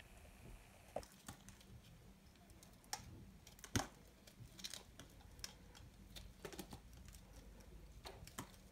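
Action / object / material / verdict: scrape / bar soap cut with a small knife / soap / none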